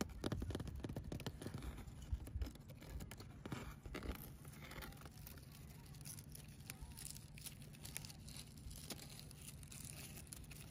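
Fingertips and long nails scratch, pick at and rub the frayed, dry, fibrous husks of old frond bases on a palm tree trunk. Dense crackling, rustling scrapes sit over a steady low hum, busier and louder in the first few seconds and then settling into quieter continuous scratching.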